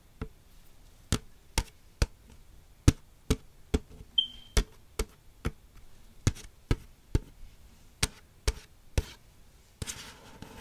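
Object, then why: Waxed-paper soda cup with plastic lid. Long acrylic nails tap the side of a large, hollow McDonald's waxed-paper soda cup, held upright with its plastic lid and straw. About 18 short, dry taps land at an uneven pace, each a low hollow knock with a crisp bright click and almost no ring. A brief tonal squeak sounds midway, and a rustly scrape closes the clip.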